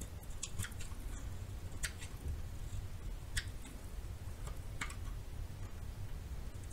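A metal knife scrapes and shaves the surface of a solid yellow bar of soap held in the palm. Soft, crisp little scratches and bright ticking flicks sound over a steady low rumble, each cut dying away almost at once.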